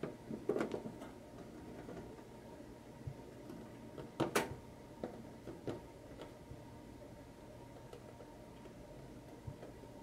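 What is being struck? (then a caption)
Small tin lunchbox. Fingertips and short nails tap on the lid and printed side of a small, hollow, printed tin lunchbox held close. Scattered light metallic taps with a brief, bright ring, the strongest around four seconds in, sit over a quiet, steady hum.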